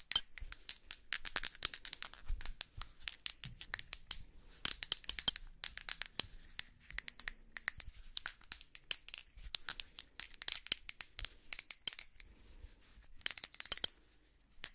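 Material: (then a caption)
Ceramic. A small, hollow white ceramic hand bell with a decal is held in a black-gloved hand and shaken so it rings. Bright, high, glassy clinks come in rapid bursts separated by short pauses, each ring dying away almost instantly with no low end.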